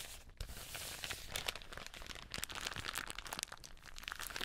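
A thin, hollow, empty translucent plastic bag with grey printed lettering is held up and crinkled, crumpled and rubbed between fingers in black nitrile gloves. The result is a steady, dense, bright crackle of crisp, sharp snaps with very little low end and no lingering ring, pausing briefly near the start.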